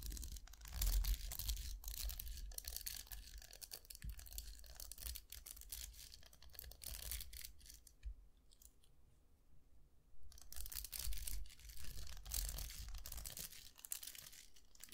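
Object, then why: Round hair brush, plastic bristles on metal barrel. A hand-sized round hair brush with plastic bristles on a hollow, vented metal barrel is held in both hands while fingertips scratch and flick the bristles. This makes a dense, uneven run of dry scratchy crackles and quick flicks over a low rumble. The sound thins to near quiet around the 8–10 second mark before picking back up.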